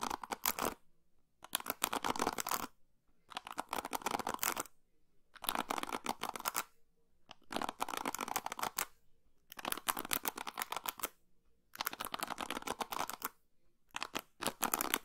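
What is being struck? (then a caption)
Plastic paddle hairbrush. Long pink fingernails scratch and strum through the white plastic pins of an orange and blue plastic paddle hairbrush held over the microphone. Eight bursts of fast, dry, bright clicking rattle are separated by short silences, with almost no low end and no ringing after each stroke.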